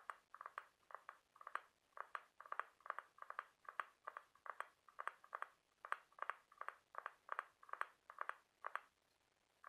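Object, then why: Scallop seashell. A large white ribbed scallop half-shell is held up in both hands while fingernails tap and scratch its ribs. Quick, dry clicks and short scratchy bursts repeat in a steady, busy rhythm, bright and centered around 1 kHz with almost no ring or low end.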